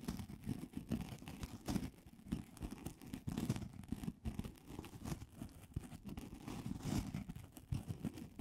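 A solid, hand-sized white polystyrene foam ball, held in both hands, is scratched with long acrylic nails. It gives a steady, dense run of soft scratchy, crunchy squeaks, mostly low and muffled with a faint bright hiss, rising and falling in quick bursts throughout.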